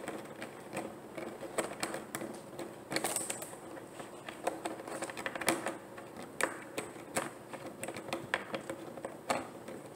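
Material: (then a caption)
Plastic. Long painted nails tap on a large, clear, ribbed plastic water jug that lies empty and hollow on its side on a table. A quick, uneven run of short, dry clicks and taps follows, each with a bright edge and a faint hollow plastic tone that dies away almost at once. A soft steady hiss sits underneath.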